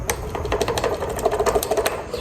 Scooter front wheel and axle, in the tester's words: if you can hear that wiggle movement you want to tighten that all the way down